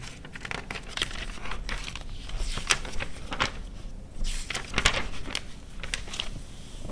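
Long red nails and fingertips turn the thin pages of an open A4-size glossy paper car magazine, a 2009 issue of Quatro Rodas, lying on white fur. Soft rustling, crinkling and scratching come in quick bright bursts over a steady low background hum, with a few louder page-turn crackles standing out.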